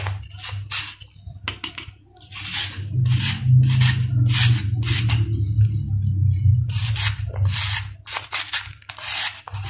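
A steel knife rasps repeatedly across the flat face of a solid sand-cement ball held in the palm, releasing dust. Quick, bright, gritty scrapes come in uneven bursts over a steady low hum.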